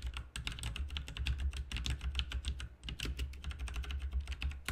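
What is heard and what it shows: Both hands type quickly with their fingertips on a full-size, backlit plastic mechanical RGB keyboard with plastic keycaps. The result is a dense, continuous run of sharp, bright clicks and clacks that end almost instantly, over a steady low hum.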